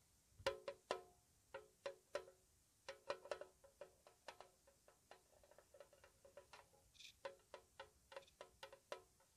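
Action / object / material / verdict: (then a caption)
tap / small metal tea tin / metal / none. A small, hollow, square white-painted metal tea tin, held close, is tapped with long nails in a slow, soft, uneven rhythm. The 23 light taps each give a short, bright metallic click with a faint ring around 550 Hz that dies away almost at once, some louder and some barely there, with quiet pauses between.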